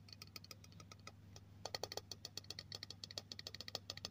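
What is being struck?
Aluminium aerosol can.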